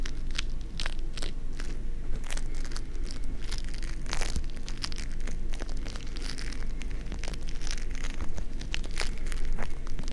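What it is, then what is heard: Foam-bead slime (floam). A small handful of green foam-bead slime (floam), soft and solid and held with no container, is squeezed, pressed and pulled between the fingertips close to a binaural mic. It gives a steady stream of sharp, bright crackles and crunchy pops over a constant low rumble.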